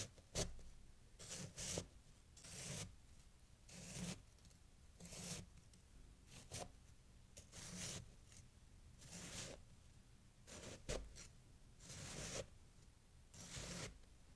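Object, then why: Packed snow pile scraped with a metal knife. A metal kitchen knife blade cuts and scrapes through a loose pile of fresh white snow resting on a green towel, held down by bare fingers, with an untouched glass jar of snow nearby. Repeated, irregularly spaced crunchy, crisp scraping strokes are heard, each a brief bright rasping burst over a low thump, with quiet pauses between.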